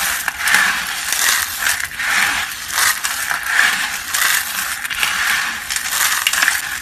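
A pile of pale yellow-white, solid, brittle dry soap flakes on a mesh mat is gathered and crushed with both hands and fingertips. The result is a steady, dense, bright crackling crunch with swelling bursts, a faint squeaky tone near 1.8 kHz, and almost no low end.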